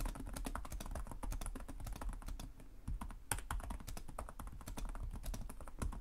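Both hands type rapidly with their fingertips on the plastic chiclet keys of a black laptop with a hollow chassis. The result is a dense, steady stream of short, dry taps with a low, hollow thud under each keystroke. There is a brief lull just before a louder tap near the middle, and the rapid clatter then resumes.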